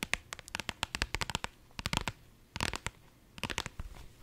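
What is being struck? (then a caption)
Soft vinyl zippered pouch. A pink holographic iridescent faux-leather zippered pouch, soft-sided and held up in both hands, is scratched and tapped with long nails. Quick, bright, crisp clicks and scratches come in bursts with short pauses between them. Each one is dry and stops almost at once.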